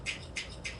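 Dried-out dehydrated ground meat is handled, giving three short, crisp crunching rustles with bright, dry, high-frequency crackle peaking near 2.5 kHz over a faint low background hum. The meat sounds crispy, meaning it is dried through and ready to seal in jars.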